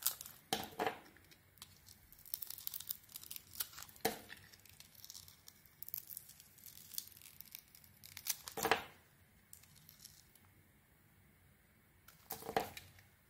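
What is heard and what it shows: A metal blade peels thick slices off a solid Isana glitter soap bar with a pink glitter coating and a white interior. Crisp, bright scraping and crackling bursts, like tearing, come in short strokes, with a few louder shaves standing out over quiet stretches of faint rustling.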